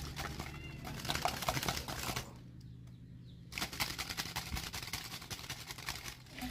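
A tall, hollow, clear plastic jar partly filled with boiled quail eggs, possibly with some water, is held in both hands and shaken vigorously over a wooden table so the eggs knock against each other and the jar walls to crack their shells. A dense, fast, irregular rattling and clacking with a bright edge and a low rumble runs for about two seconds, drops to a quieter lull for about a second, then resumes strongly until the end.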